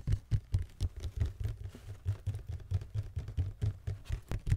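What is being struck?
Cardboard shoe box.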